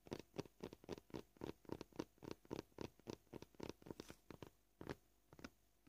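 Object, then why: Plastic cutting board. Short purple-polished fingernails tap a solid, flat white plastic cutting board covered in visible knife scratches. About two dozen quiet, dry clicks come in an uneven rhythm, close together at first and then spreading out with longer pauses. Each tap dies away almost instantly, with no ring.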